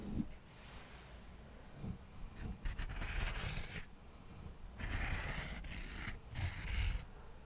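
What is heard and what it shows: Cotton swabs are rubbed and scratched across a small stack of thin, square cork coasters held in one hand. Soft, dry scratching and rubbing come in several bursts of bright, airy rasping over low, muffled thumps, with quiet pauses between strokes.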